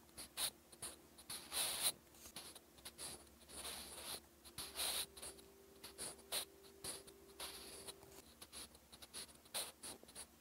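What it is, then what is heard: Pencil writing on paper. A wooden graphite pencil scratches across a lined, textured cream paper notebook page in continuous writing strokes. The sound is a series of quiet, bright, irregular scratchy bursts with short gaps, over a faint steady low hum.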